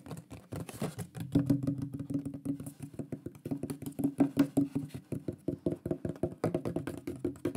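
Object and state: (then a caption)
Wooden plaque. A shield-shaped wooden pyrography plaque with a burned drawing is tapped quickly with the fingertips and nails of both hands. The result is a steady run of rapid, short, dry hollow knocks with a woody tone centered around 280 Hz, each dying away almost at once.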